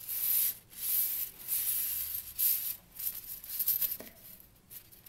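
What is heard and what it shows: A kinetic flow ring toy made of thin steel strips is twisted, squeezed and shaken between fingertips and long nails close to the microphone. The strips rub and click together in bright, hissy metallic swishes that come in loose, uneven bursts. A few sharper clicks stand out near the end.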